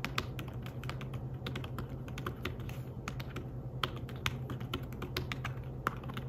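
Fingertips type quickly on a slim fabric-covered tablet keyboard, producing a dense stream of short, soft, muffled taps with brief bright clicks. A steady low hum runs underneath the whole time.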